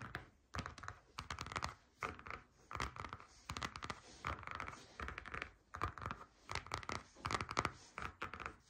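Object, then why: Stitched faux leather folder. Long nail tips tap quickly on the top of a flat, grey, stitched faux leather folder lying on a table. The taps come in rapid, uneven bursts separated by short pauses, each a dry, soft clicking with a midrange focus and almost no ring.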